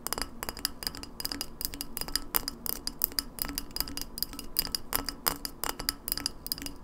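Long nails tap quickly on the ridged glass shoulder of an empty, open-mouthed glass lemonade bottle, held sideways and then upright. The result is a rapid, uneven stream of bright, clinking glass ticks that die away almost instantly, over a soft low hum.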